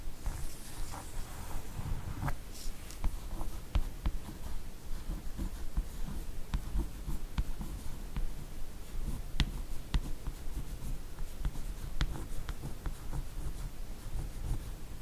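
Long orange-painted nails trace and scratch along the cover artwork of a large, solid hardcover "Lady S" comic album lying flat, with a glossy laminated cardboard cover. The sound is a quiet, steady, dry rustling scrape, broken by frequent short, sharp ticks and clicks at an uneven pace.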